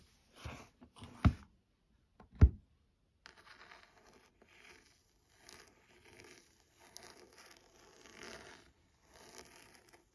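Fingernails work over a burgundy embossed leather-bound hardcover book, tapping the back cover and scratching along the spine edge. Two sharp, dull taps stand out early, followed by a run of soft, dry, crinkly scratching strokes that come in short uneven bursts.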